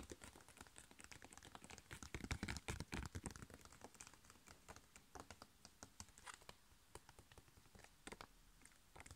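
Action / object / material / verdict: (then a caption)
tap / foil-laminated plastic sachet / foil laminate / none. A flat, sealed, printed foil-laminated plastic face mask sachet, about hand size, is tapped quickly on its front with long painted nails and fingertips. Dozens of crisp, bright clicks with a light crinkly texture run in an uneven patter, growing louder and denser for a short stretch early on before settling back to softer, scattered taps.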